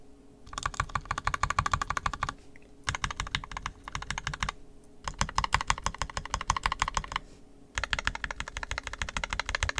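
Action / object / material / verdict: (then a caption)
tap / plastic mechanical keyboard / plastic / none. A fingertip presses individual keys on the right side of an NK65 Entry Edition 65% mechanical keyboard with a purple plastic case, red and black plastic keycaps, and lubed and filmed 67g Tangies switches. Four bursts of fast, short, clacky keystrokes are heard, separated by brief pauses, each with a tonal ring around 1 kHz and a soft low thump.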